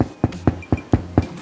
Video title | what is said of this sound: Keto 'Whole Wheat' Bread | Kiedy go stukasz, słychać dźwięk, który dawał chleb w dawnych czasach.